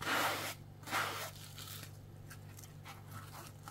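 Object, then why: Plastic scouring sponge with foam base. A dry, palm-sized strawberry-shaped kitchen sponge, with a pink coarse plastic scouring layer on a yellow foam base, is held in one hand, first showing the yellow foam side before fingertips scratch the pink scrubby layer. Two loud, bright, rasping scratch bursts come first, followed by fainter, softer scratches. A steady low hum runs underneath throughout.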